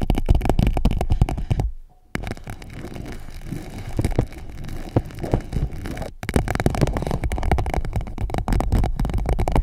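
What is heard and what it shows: An empty clear PVC pouch held around the microphone is tapped and scratched with long nails, giving rapid, irregular crinkly taps and scratches over a heavy, muffled low rumble. The sound drops to near silence around the two-second mark and briefly again near six seconds before the busy tapping resumes.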